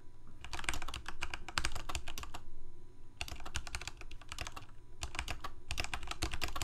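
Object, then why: Plastic mechanical keyboard. Both hands type rapidly with their fingertips on a full-size black plastic Corsair K68 mechanical keyboard with Cherry MX Red switches and blue backlit keycaps, resting on a white desk. Quick, irregular bursts of sharp, bright key clacks come in three runs separated by short pauses, over a steady low rumble.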